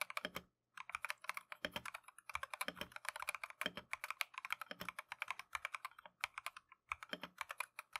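Gloved fingertips type continuously on a Keychron V1 plastic mechanical keyboard with Tangerine switches and green and cream PBT Matcha keycaps. The result is a rapid, steady stream of short, bright clacks with almost no ring and very little low end, broken by brief pauses.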